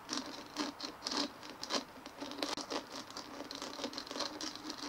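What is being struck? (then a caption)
Dimpled plastic ball. Fingernails tap and scratch quickly all over a large white dimpled plastic ball resting on a table. A fast, uneven patter of light, bright clicks blends with dry scratching, with no low end, and each tap dies away almost at once.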